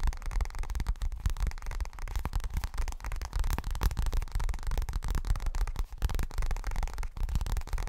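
Fast tapping on a leopard-pattern pink toilet bag produces a steady run of short, dull, low-heavy taps with almost no ring. The taps blend into a continuous soft, muffled rhythm over a faint background hiss.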